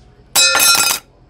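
A thick 0.8 metal business card is dropped onto a desk, giving a bright, high-pitched metallic clink with two quick hits and a short ring. The sound is clearly metallic.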